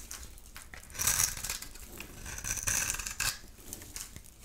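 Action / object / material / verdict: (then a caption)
scrape / bar soap / soap / none. A metal utility knife blade scrapes and carves a solid, rectangular, cream-colored bar of dry soap held in the palm, shaving off crumbly flakes. The sound is a dry, bright crackling and scratching, with louder rasping bursts near 1 second, 2.7 seconds and 3.2 seconds, and short crumbly ticks between them.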